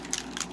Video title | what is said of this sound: DIY Glimmer Mist/Alcohol Spray (part 1) | you always have to shake it and if you hear you hear that in there